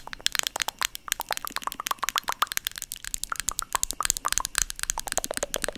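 Long nails tap rapidly on the lid of a small white plastic cosmetic jar held in one hand close to the mic. Dozens of sharp, dry, crackly clicks come in quick, uneven bursts, each very short and bright with almost no low end or ring.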